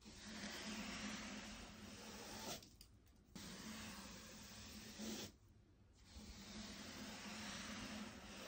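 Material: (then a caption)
Wood. A soft-bristle hand brush with a black handle sweeps in long strokes along a flat, solid oak-look stair tread (wood or wood laminate) with an aluminium edge strip, next to a white wall. Steady, broad scratchy brushing hiss with a faint low hum is broken by two short quieter pauses between strokes.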